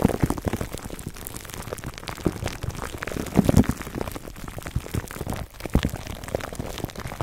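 Fingertips of both hands scratch clear plastic cling film wrapped over a black foam microphone windscreen. The result is a dense, continuous crackle of soft crinkles and tiny pops, weighted toward low, muffled thumps, with a louder flurry a little past the middle.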